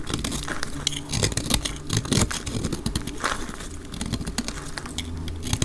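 A solid pink-orange dry soap bar with yellow specks, held in the hand, is scraped and cut with a utility knife blade, played back at double speed. Dense, dry crackling and scraping sounds come in quick bursts, with sharp bright clicks and crumbly rasps over a low rumble.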